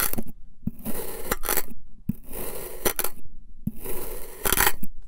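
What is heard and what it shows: A long black knife slices crosswise through the same purple and white kinetic sand figure-eight shape, crunching and scraping through it. Repeated bursts of gritty, crackling scrape with sharp clicks are separated by brief quiet gaps as each cut passes through the sand.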